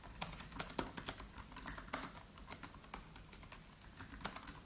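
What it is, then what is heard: Laptop keyboard with plastic keys. Fingertips of both hands type rapid taps on the black plastic keys of a MacBook Pro laptop with an aluminium body. The result is a quick, uneven stream of short, bright clicks with almost no ring after each tap, over a quiet background.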